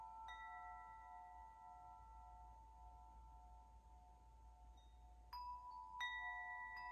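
A hollow metal tube wind chime, held by its top and swung gently, lets its striker hit the tubes. Each strike rings out in bright, sustained metallic tones around 2 kHz that slowly fade over a faint low rumble. Two more strikes near the end renew the ringing.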